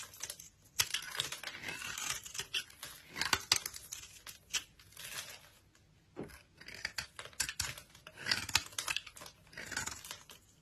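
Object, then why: Bar of soap with a coated surface. A utility knife blade shaves the bronze embossed coating off a solid rectangular bar of soap with a white core, held in the hand, in scraping strokes. Dry, bright scraping and crisp tearing bursts come in quick, uneven runs, with short pauses between strokes and almost no low end.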